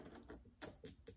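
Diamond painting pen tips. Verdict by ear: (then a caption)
Metal. Multiplacer diamond painting pen tips from an advent calendar kit are tapped together, giving light, sharp clicks with a bright, metallic ring. The clicks sound like metal, unlike an earlier kit's tips, which sounded like plastic. Four distinct taps stand out over a soft, low background.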